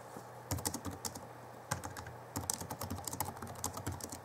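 Fingertips type on the backlit chiclet keyboard of a 2011 Alienware M11x2 laptop, its plastic keys giving short, bright clicks with a soft low thump under each press. A brief burst of taps is followed by a pause and a single keystroke, then a steady run of quick, dry typing to the end.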